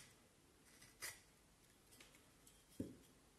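A black-handled carving knife scrapes and shaves a hand-held, forearm-length solid vine wood stick with partly peeled bark in short strokes. A few quiet, bright, dry scrapes rise from near silence, ending in a sharper, fuller stroke that fades quickly.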